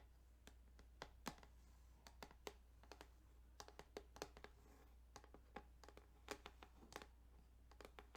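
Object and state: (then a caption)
Plastic game cartridge. Fingertips tap and scratch across the ridged plastic of a Tetris Game Boy cartridge, chosen for its ridges, producing a quick, irregular run of sharp, dry clicks and brief scrapes. The sounds are short with almost no ring, over a quiet, steady low hum.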